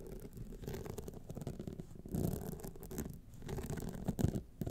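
Long nails scratch down the rhinestone face of a gold rhinestone-studded clutch wallet, starting from the top. The result is a dense, continuous, muffled scratching that sits mostly in the low range with little brightness. It swells into louder rasping bursts around the middle and near the end.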